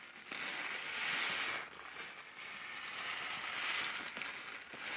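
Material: Plastic film.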